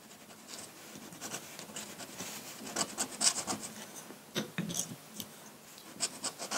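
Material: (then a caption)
Paper. A metal dip-pen nib draws ink lines across a large flat sheet of white drawing paper, making soft, bright scratching and rasping strokes. Short, sharper scrapes stand out against a quiet, continuous rub of the nib on the paper.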